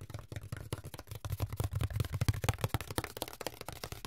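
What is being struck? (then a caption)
Corrugated cardboard sheet. A long, flat brown corrugated cardboard strip with a ribbed surface is held in the hands while fingertips tap and scratch across its ribs. A quick, steady stream of dull, low thumps comes through, mixed with dry, papery scratches. Each tap dies away almost instantly with no ring.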